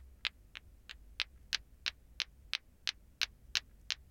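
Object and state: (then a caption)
Plastic ball clacker (lato-lato). A plastic ball clacker (lato-lato), two small solid, glowing green plastic balls on a string, hangs from the fingers and swings so the balls knock into each other. Twelve short, bright, dry clacks land at a steady pace of roughly three per second. Each dies away almost instantly over a faint low background hum.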